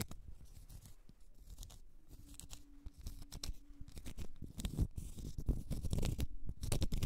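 Long red nails scratch the flat face of a small, solid, round cork stopper, making quick, dry, crackly scraping strokes at an uneven pace. The scratching starts soft and grows steadily louder, with a faint steady low tone underneath in the middle.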